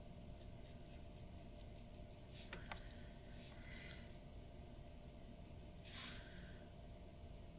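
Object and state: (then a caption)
Pen nib scratching on a paper sheet. A glass dip pen nib scratches short strokes across a white paper sheet on a wooden desk while drawing around an eye. Faint, bright scratching rasps come in brief bursts, with a louder, sharper scrape near the end, over a steady low background hum.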